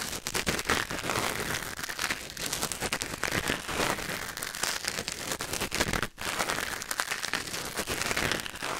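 A thin wooden or bamboo ear pick, held in the fingers, scratches and scrapes inside the canal of a white silicone ear mounted on a black binaural microphone. The result is a dense, close-up stream of crackly, crinkling scrapes and clicks, mostly bright and high with little low end, broken by one brief near-silent gap around six seconds.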